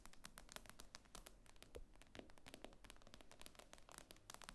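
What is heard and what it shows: Long nails tap rapidly on the glass screen of an iPad lying flat. The result is a quick, irregular stream of short, dry clicks with bright edges and almost no ring, heard quietly over a low, steady rumble.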